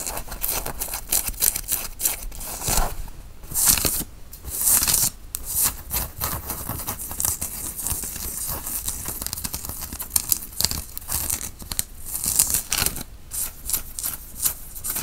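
A white cotton t-shirt being worn is bunched up, scratched with the fingers and pulled taut. Dense, bright scratching and rustling of fabric runs throughout, with short louder bursts of scraping and soft swishes.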